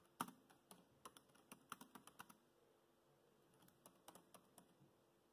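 Fingertips type on the black plastic chiclet keys of a dark grey laptop, producing about 19 quiet, short, crisp clicks. The clicks come in an irregular burst, pause for about a second, then resume more sparsely. Each click has a mid-range tap with a bright edge and dies away almost instantly.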